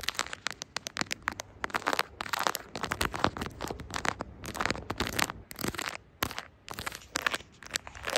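Long acrylic nails tap and scratch the camera lens ring and the surface of a smartphone in a brown silicone case with charms. The result is a rapid, uneven run of dry, clicky taps and crackly scratching with a bright top and almost no ring, broken by brief pauses.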